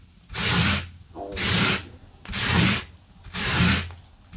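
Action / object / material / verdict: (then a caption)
scrape / synthetic loop-pile carpet brushed with a stiff brush / synthetic fibre / none. A gloved hand scrubs a flat blue synthetic loop-pile carpet runner lying on a wooden floor with a small yellow-handled stiff-bristle brush, likely wire. Four rapid, evenly spaced brushing strokes make a harsh, bright scratching hiss over a low rumbling rub, with short quiet gaps between them.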